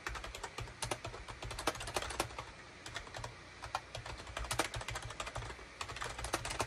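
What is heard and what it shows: Fingertips type fast on a full-size gray and beige plastic Shipadoo K600 wired USB keyboard with hollow plastic keycaps. A rapid, uneven stream of short, bright plastic clicks and taps sounds over a steady low hum, each keystroke dying away almost at once.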